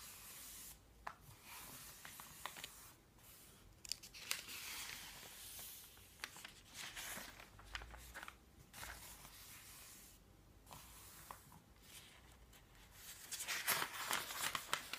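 Fingertips flip the thin glossy and matte pages of an open, thick paper phone book on a table, while a palm rubs the pages flat. Bright, airy rustling and smoothing swishes are broken by short, crisp page-flip snaps at an uneven pace. A louder burst of flipping comes near the end.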